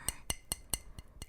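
Someone taps six times on a returnable glass bottle of KC Kombucha coconut lime, evenly spaced. Each tap is a short, bright clink with high ringing overtones and a faint low knock underneath, dying away quickly.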